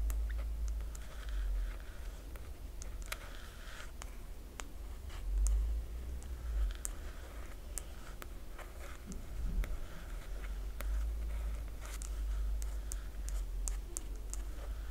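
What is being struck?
Glossy paper dust jacket on a hardcover book.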